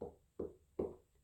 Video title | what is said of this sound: How to Choose the BEST ripe Watermelon in the store | sounds hollow inside and that's gonna tell you that your watermelon is ripe